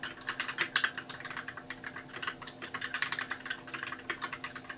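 Both hands type steadily with their fingertips on a compact white mechanical keyboard with backlit keys and plastic keycaps, resting on a desk. It makes a quick run of about thirty crisp, bright clacks with almost no low end, each keystroke dying away almost instantly.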